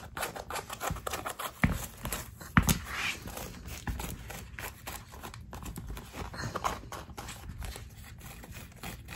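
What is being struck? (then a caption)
Knit-mesh sneaker with rubber sole. Long acrylic nails tap and scratch the knit upper and laces of a hollow, empty black knit-mesh running shoe with a white foam/rubber sole lying on a wooden parquet floor. The result is a steady, irregular stream of soft, dull taps and dry, scratchy rustles, with a couple of sharper, louder taps early on.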